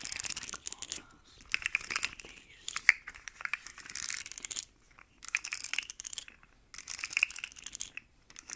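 Long nails scratch quickly along the ridges of a hand-sized, rainbow, segmented plastic slug fidget toy with hollow segments. Bursts of dense, bright, rasping clicks come in several runs separated by brief quiet gaps. The sound is dry and crackly, with almost no low end.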